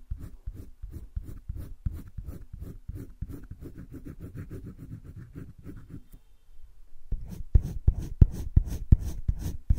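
A green wooden colored pencil held in the fingertips scratches and shades across a flat sheet of a spiral-bound drawing paper sketchbook. It makes a quick, steady run of soft, dull back-and-forth strokes. After a brief pause, the strokes return louder and sharper, with bright scratchy edges.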